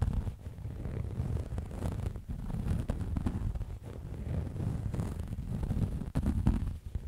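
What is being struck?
Faux leather cosmetic pouch.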